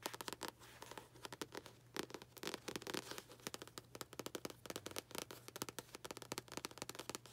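Long nails tap the glossy card front cover of a solid medium paperback book held in the hands. The result is a rapid, uneven run of short, dry, bright clicks with almost no ring, over a faint low hum.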